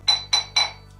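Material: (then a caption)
Marble. A hollowed-out marble block (conca) from the Canaloni quarry, used to cure Lardo di Colonnata, is struck three times and gives bright, metallic clinks with a short ring. The metallic sound shows the dense, non-porous stone does not let the brine seep through, so everything put inside stays in.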